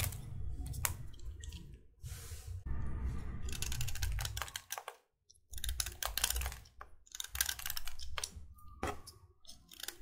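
A solid white chalk stick is carved by scraping it with a metal utility knife blade held in the other hand, with a pile of chalk dust below. Quick, dry, bright scratching strokes come in irregular bursts over a soft low rumble, with a brief silent pause midway.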